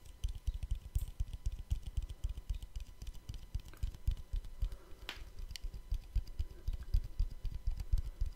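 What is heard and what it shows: A small, round, palm-sized black plastic cap or lid (possibly rubber) is held in one hand close to the microphone and tapped with the fingertips of the other hand. Rapid, irregular fingertip taps produce soft, dull, low thuds that die away almost instantly, with faint brighter clicks on top.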